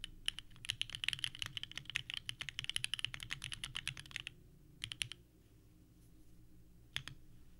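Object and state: Mechanical keyboard with plastic keycaps.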